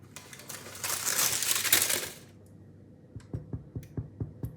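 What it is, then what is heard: Hollow-sounding loaf, baked through. A loud, crinkly rustling lasts about two seconds, followed by a quiet pause and then six light, dull taps on a baked loaf of bread. The loaf sounds hollow, showing it is baked through.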